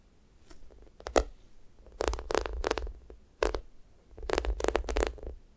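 Long manicured nails and fingertips scratch and press the surface of a hand-sized yellow mango toast squishy toy made of solid, soft polyurethane foam with a sticky glossy coating, lying flat. The result is a series of short, crackly, tacky scratching bursts with a soft low undertone, separated by brief quiet pauses.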